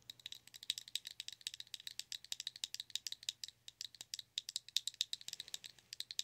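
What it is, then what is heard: Plastic blush compact. Long nails tap and rattle a small round clear pink plastic blush compact, held open with its hinged lid up. A quick, uneven run of dry, sharp clicks sounds bright and thin, centered near 3.8 kHz, with almost no low end. Each click stops instantly, leaving no ring.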